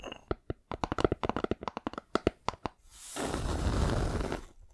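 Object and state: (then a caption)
Hollow wooden box. Long nails tap quickly across a rectangular hollow wooden box with light wood edges and a dark top panel, held in both hands, making a rapid, uneven series of short, dull, resonant knocks. The taps then give way to a steady, noisy scratching that rises, holds for over a second, and fades.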